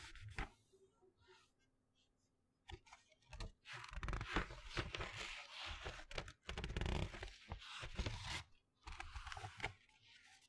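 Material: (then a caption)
Glossy paper. Fingertips flick and turn the pages of a colorful glossy paper magazine held to the left of the mic. Paper rustles and crinkles in uneven bursts, with sharp flicks and a quiet pause near the start before busier rustling fills most of the clip.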